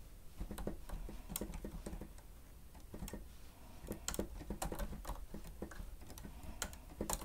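Fingertips of both hands press and tap the keys of a grey plastic stenotype keyboard with a hollow housing, typing in quick irregular bursts. The keystrokes are soft, dull clicks with a low, hollow thump and brief bright ticks that die away almost at once.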